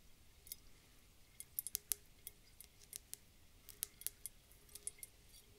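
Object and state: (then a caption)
Glass globe bottle with water and glitter. Long dark fingernails tap a round clear glass bulb bottle, partly filled with water and glitter, held in the hands. The result is a quiet, irregular series of sharp, bright clicking taps with almost no ring, some coming in quick clusters.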